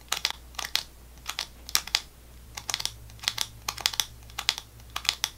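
Fingernails tap and scratch the surface near the cap of a GoGo Squeez laminated plastic foil apple sauce pouch, which appears full and is held in both hands. Quick clusters of sharp, bright clicks and scratches with some crinkling sound over a faint steady low hum, each sound dying away almost instantly.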